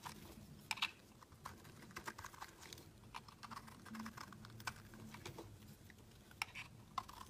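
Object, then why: Bar of soap cut with a metal blade. A solid, opaque pink embossed soap bar is held in the hand and carved into flakes with a utility knife blade. The metal blade makes a quiet run of short, crisp scrapes and cutting ticks with a bright edge, each dying away almost instantly. A faint, steady low hum sits underneath.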